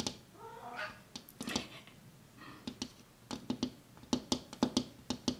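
Fingertips and nails tap a large, thin, flat window pane, dark and reflective, with a white frame at the edge and fixed in place. About 17 short, bright taps land at an uneven pace with a quick decay. Faint wavering tonal sounds drift in between the taps.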